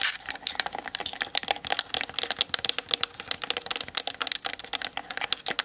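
Long nails tap rapidly on the hollow plastic body and lens of a Canon DSLR mounted on a tripod. The result is a fast, dense stream of dry, bright clicks with almost no low end and no ring after each tap.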